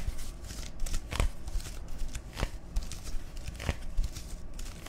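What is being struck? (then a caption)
Plastic soda bottle. A dark-labelled plastic soda bottle, hollow and partly filled, is tapped and scratched with fingertips and nails close to the microphones. Soft, low hollow thumps mix with bright, crinkly scratching, and each tap dies away almost at once.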